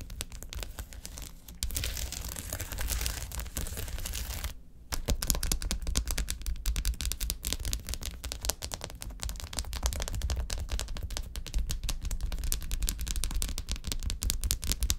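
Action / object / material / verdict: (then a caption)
tap / sheet of foil-covered gel ice pack cells / foil, gel / none. Long acrylic nails rapidly tap and scratch across a flat sheet of small silver foil-laminated gel ice pack cells lying on a table. The result is a dense stream of crinkly clicks and bright, papery scraping over a low, soft thudding body. A brief lull comes just before the five-second mark, and then the busy tapping continues to the end.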